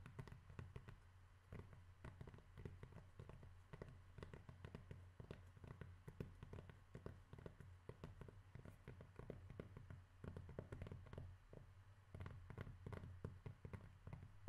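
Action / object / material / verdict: tap / cork surface / cork / none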